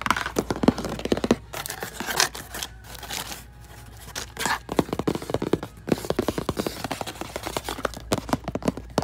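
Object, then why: Plastic treadmill console buttons. Fingertips tap quickly across a row of round, numbered plastic buttons on a plastic treadmill control panel, above a slotted vent grille. Dense bursts of short, dry clicks and thunks pause briefly in the middle, then resume in quick runs to the end.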